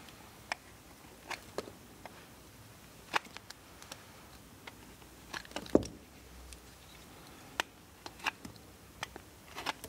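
A steel knife blade scrapes a solid carved blue bar of soap held in the hand, making a series of short, crisp scraping clicks spread unevenly across the clip. The scrapes are bright and dry with almost no ring, over a quiet, faintly hissing background.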